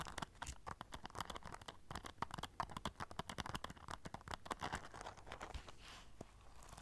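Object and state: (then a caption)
Rhinestone-studded clutch pouch. A small black rhinestone-studded clutch pouch covered in silver studs is turned close to the mic while long nails scratch and tap across the studs. Rapid, crisp clicks and dry scratchy rasps overlap in a dense, uneven run. Each tap dies away almost instantly.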